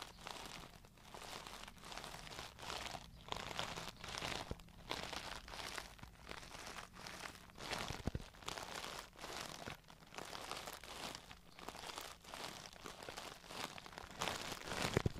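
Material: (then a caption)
Plastic. A hand-sized, hollow, rigid clear plastic makeup brush case with pink glitter and pink brushes inside is handled and tapped close up with long nails and fingertips. The result is a steady stream of crisp, bright crinkly clicks and scratchy taps over about fifteen seconds, with a quiet, close feel.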